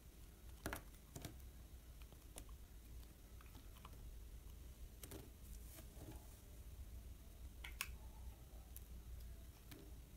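A utility-knife blade, held against the thumb, scrapes and slices through a solid yellow soap bar, carving it into thin strips and cubes. Short, crisp clicks and scratchy cuts sound over a low, steady rumble. The cuts stop dead with no ring.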